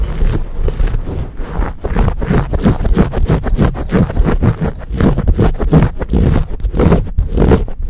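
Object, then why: Foam microphone windscreen. A dark, fuzzy, hand-sized foam windscreen over a microphone is gripped in both hands and rubbed and scratched with fingertips and nails. The result is a dense, continuous stream of close, muffled scratching and rustling bursts, heavy in low rumble with little high end, ending each stroke quickly without ring.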